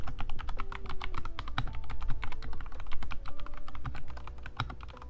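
Both hands type rapidly with their fingertips on a compact 60% Kemove Snowfox DK61 mechanical keyboard, which has white plastic keycaps and RGB backlighting and sits on a desk. Quick, short clacks run continuously over a steady low hum, and the typing eases off slightly toward the end.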